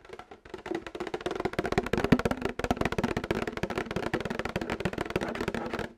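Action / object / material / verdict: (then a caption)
tap / plastic milk jug / plastic / none. Fingernails tap rapidly on a plastic milk jug throughout, making quick, dry, hollow clicks with a slight mid-low resonance. The taps come in dense, uneven bursts with a short pause near the start. Each one stops almost instantly.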